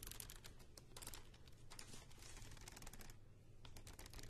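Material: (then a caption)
Cardboard. Long painted nails tap and scratch the cardboard cover and edges of a medium spiral-bound paper notebook held upright in one hand. A rapid stream of short, bright, dry clicks and scratchy rustles plays over a steady low rumble, with a brief quieter stretch near the end before the tapping picks up again.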